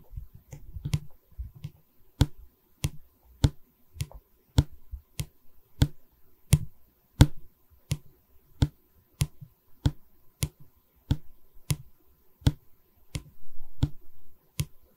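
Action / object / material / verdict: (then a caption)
tap / pine canvas stretcher frame / wood / none. Long red nails tap and scratch a solid pine stretcher bar of a wooden canvas frame held in both hands. A steady run of about 22 short, dry taps each pairs a low woody knock with a bright click. A busier patch of scratching opens the clip, and a soft scraping burst comes near the end.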